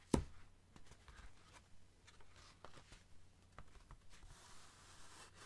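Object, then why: Cardboard mailer envelope. A flat, medium-size brown cardboard Amazon mailer, likely holding a book, is held upright and tapped and scratched with fingertips and short nails. One sharper tap opens the clip, followed by soft, quiet taps and dry scratching over a steady low hum.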